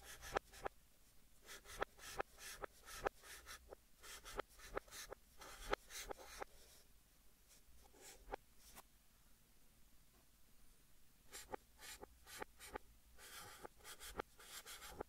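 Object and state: Chalk writing on a chalkboard.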